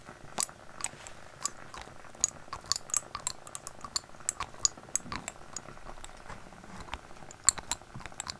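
Fingernails tap on a small glass dropper bottle with a white label and on its cap, held close to the microphone. The result is an irregular run of quick, bright, typing-like clicks that stop dead with no ring, over a soft, steady background hiss.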